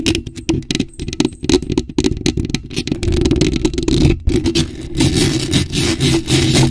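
Long acrylic nails scrape and tap a bare, hollow black metal mesh microphone grille. The result is a dense, fast run of scratchy rasps and sharp taps over a boomy, low-heavy rumble, with short bright crackles between strokes.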